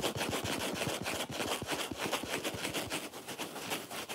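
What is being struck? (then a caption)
Foam kitchen sponge. Fingernails scratch fast across the red foam face near the top edge of a dry, watermelon-style foam kitchen sponge. The result is a rapid, uneven stream of dry, bright rasping strokes that run together with little pause.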